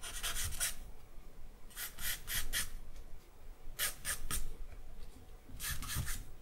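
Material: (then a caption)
Charcoal, paper. A charcoal stick is rubbed across the lower part of a sheet of white drawing paper laid on a black backing. It makes quick, dry, scratchy strokes with a bright rasp, coming in four short clusters separated by quieter pauses. A low, soft rumble runs underneath.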